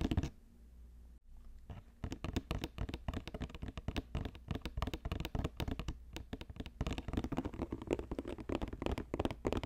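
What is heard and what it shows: Fingers tap quickly on a woven basket. After a brief quiet start, a dense, irregular run of short, dry taps with a faint scratchy texture carries on to the end, with little ring after each tap.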